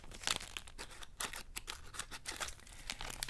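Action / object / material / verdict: scrape / plastic candy wrapper / plastic / none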